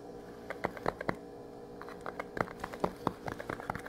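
A small, flat, printed metal tin, held in both hands, is rapidly tapped and scratched with the fingernails. Quick, irregular, sharp clicks and taps rise over a quiet, steady low hum.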